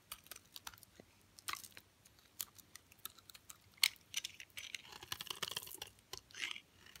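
A utility knife blade carves into the embossed face and edge of a solid, hard, hand-sized green Dalan olive oil soap bar, cutting and scraping off chunks. Sharp, dry, bright crunching and scraping clicks come in quick, irregular bursts with almost no low end and no ring, the loudest snap just before the four-second mark.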